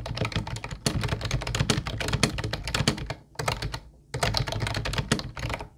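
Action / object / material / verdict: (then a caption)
tap / plastic keyboard / plastic / none. A mint-blue plastic Ubotie retro keyboard with round white keycaps is typed on with the fingertips of both hands. Rapid, dry plastic key taps clatter with a low thocking body and bright clicks, each dying out almost at once. The typing briefly slows around the middle, then resumes at a steady pace.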